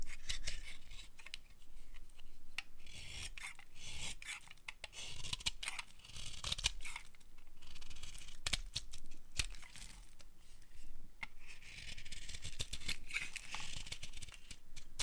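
A solid, dry, pale green bar of soap held in the palm is scraped and carved with a utility knife blade. Crisp, bright scraping and shaving strokes repeat steadily, each with a dry rasping texture and almost no ring.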